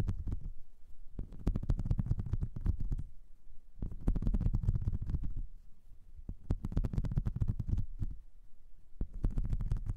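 Long nails scratch across the ridges of a flat, light blue, whale-shaped silicone brush-cleaning mat with ridges and nubs. The result is a low, rumbling scrape laced with rapid clicks, coming in bursts separated by short pauses.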